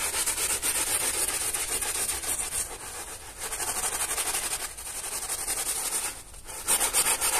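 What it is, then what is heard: Wet soapy carpet being scrubbed. A small teal hand brush scrubs a soaked, soap-foamed flat pile carpet lying on a plastic sheet, working in circles and strokes. The result is a steady, bright, hissing bristle scrub with a quick rhythm of roughly four strokes per second, briefly easing off a few times before resuming louder near the end.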